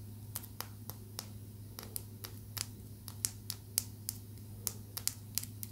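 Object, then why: Small amethyst tumbled stone tapped with acrylic nails. A small, solid, purple tumbled amethyst stone is held between the fingertips and tapped and scratched with long acrylic nails. About eighteen short, bright clicks and ticks fall at an irregular pace and die away almost instantly. A steady low hum runs underneath.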